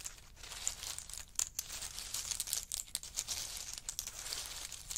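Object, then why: Pile of in-shell pistachios. A large pile of roasted in-shell pistachios on a fur mat is stirred with a wooden spoon and a wooden chopstick. The hard small shells give a steady, bright rattling and crinkling, with many quick, dense clicks and almost no low end.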